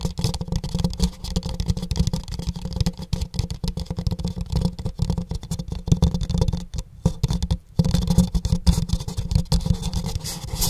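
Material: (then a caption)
Paper. A pink printed empty paper cup, held upside down over the mic, is tapped on its side with fingertips and nails. This makes a dense, rapid stream of soft, muffled thumps with a deep, boomy low end and faint bright clicks. A brief pause comes near the 7.5-second mark before the tapping resumes.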